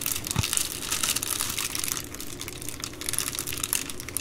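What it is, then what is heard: Plastic bubble mailer. Fingers with long nails fold and squeeze the rolled top edge of an empty Amazon Prime poly bubble mailer. Dense, bright plastic crinkling and crackling runs steadily throughout, with a brief low thump near the start.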